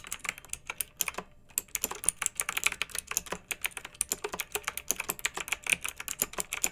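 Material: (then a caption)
Plastic. Long-nailed fingertips type on a pink mechanical keyboard with round retro plastic keycaps and blue backlight, resting on a fluffy rug. A steady run of sharp, bright plastic clicks and clacks sounds across the keys, with a short pause early on before the typing resumes.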